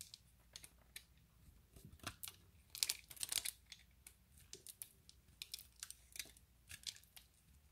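The blade of an orange utility knife scrapes across a hand-sized, solid, opaque pale green bar of soap with embossed lettering, its surface scored into a grid. About twenty quiet, crisp, bright scratchy clicks and crackles come at an irregular pace, with a denser, louder flurry of scraping around the third second. Each scrape stops short with almost no ring.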